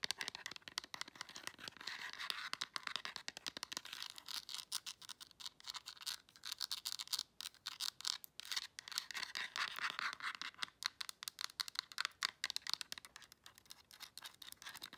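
Long nails rapidly scratch and tap the hard plastic back of a black plastic LED remote control, around its battery compartment. The result is a dense run of crisp, bright scratching and clicking with almost no low end. The taps are very short and dry, with no ringing after them.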